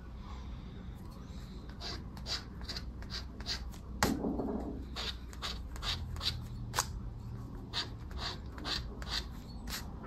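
A thin yellow paper lottery scratch card with a latex scratch-off coating, lying on dark fabric, is scratched with a round black plastic disc scraper held in the fingers while the other hand steadies the card. Quick, bright rasping strokes repeat over a low, steady background hum, with one sharper scrape standing out near the middle.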